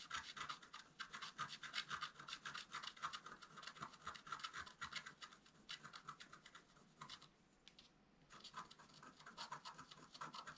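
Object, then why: Wax-coated scratch art paper scratched with a wooden stylus. A wooden stylus scratches dense strokes across a flat black-coated scratch art paper card held flat by one hand. It makes a quiet, bright, rasping sound at roughly four strokes per second, with very little low end. The strokes pause briefly around the seven-to-eight-second mark before resuming.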